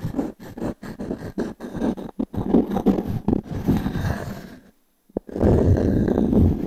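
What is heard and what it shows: A small wooden cube's edge is scratched across the ring grain of a solid round pine log-slice coaster held in the palm. The result is a rough, dry, low-pitched scraping in short, uneven strokes. A brief silence is followed by a steadier, louder stretch of scratching.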